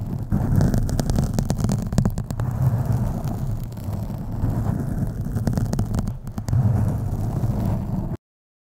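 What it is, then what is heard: Foam microphone windscreen being scratched. Fingernails scratch the top and sides of a black foam microphone windscreen, producing a dense, muffled rumbling rustle concentrated in the deep low end, dotted with sharp crackling clicks. The scratching continues steadily for about eight seconds, then cuts off abruptly into silence.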